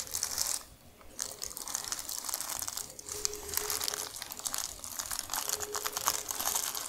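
A large, thin, crinkled sheet of tissue paper spread flat is scratched and tapped across its surface by long nails. Bright, dry crinkling and scratching comes in dense bursts, with a brief quiet pause near the start. Faint thin tones sit underneath.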